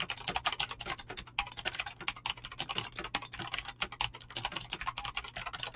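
Fingertips type fast on a mechanical keyboard with clicky green switches and PBT plastic keycaps. The result is a dense, steady stream of sharp, bright clicks with very short decays and a faint low hum underneath.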